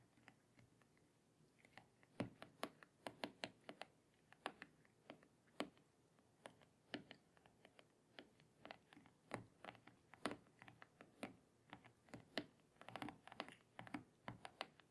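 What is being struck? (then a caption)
Glass tablet touchscreen. Long painted fingernails tap rapidly on the glass touchscreen of a small tablet lying face up on a table. Quiet, sharp, bright clicks come in quick, uneven bursts over a soft background, each dying away almost instantly.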